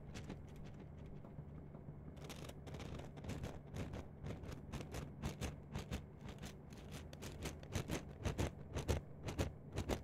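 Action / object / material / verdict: scrape / plastic mesh net sleeve / plastic / none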